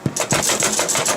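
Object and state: Baked-through sourdough loaf, hollow underneath.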